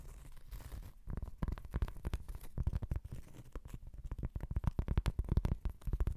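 Long acrylic nails scratch across a large, thin, solid round cork trivet held in the hands. The result is a dense run of quick, dry, muffled scratching strokes that are mostly low and dull, with almost no bright edge. The strokes come in rapid bursts and grow a little louder toward the end.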